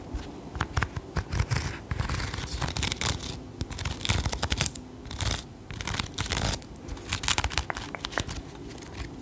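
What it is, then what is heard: Crocheted yarn toy mushroom. Long acrylic nails scratch and tap over a small, soft crocheted yarn toy mushroom with a red cap and white stem, held in the hands. Dense, bright, crinkly scratching comes in bursts, with short dull taps and a soft low rumble underneath.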